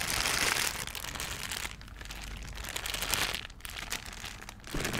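A thin, empty, transparent plastic bag is stretched out and crumpled and crinkled by hand. Dense, bright crackling rustles come in louder bursts at the start, around the middle and at the end, with quieter crinkling between them.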